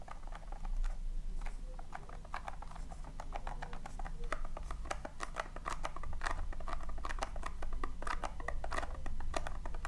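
Long painted nails and fingertips scratch and dig through loose tiny colored polystyrene foam beads filling a round tin. The sound is a rapid, dense rustling-scratch of many short, bright crackles over a low, steady rumble.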